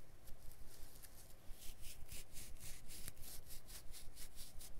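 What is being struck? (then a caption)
Carpet backing, woven/felt underside. Fingers work a blade along a long strip of carpet lying backing side up on a cutting mat, scoring and rubbing the woven felt underside. Quick, fairly regular scratchy strokes, about three per second, come through as soft bright rasps over a steady low rumble.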